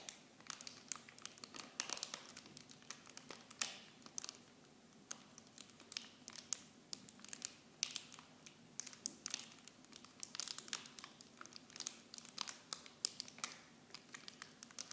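Clear plastic film packaging wrapped around small blue bottles is crinkled and pressed with fingers and long nails. The result is a quiet, steady stream of bright, sharp crinkles and crackles with almost no low end, each snap dying away instantly.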